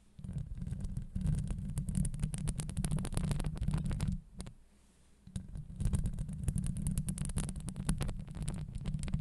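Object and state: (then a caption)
Metal mesh microphone grille scratched. Long acrylic nails scratch a hollow steel wire-mesh microphone grille, on top and on the sides, producing a dense, heavy low rumble with rapid crackly, bright ticks over it. The scratching drops to a quiet lull a little past four seconds, then resumes just as thick and rumbling to the end.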